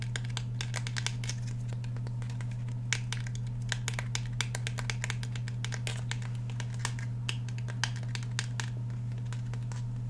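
Fingernails scratch and tap along the steel slide and polymer frame of a black Glock 17 handgun held in both hands. Quick, sharp clicks and scrapes come in irregular bursts over a steady low hum.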